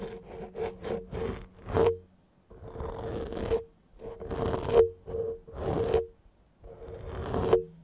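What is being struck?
Foam microphone windscreen.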